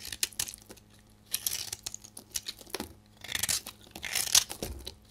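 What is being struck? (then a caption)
Bar soap cut with a metal knife. A metal knife blade scrapes and cuts into a solid, dry pink bar of soap with a carved, hollowed face, held in the hand, shaving off powdery flakes. Bright, dry crunching and crinkly scraping come in short bursts of quick strokes separated by brief quiet pauses.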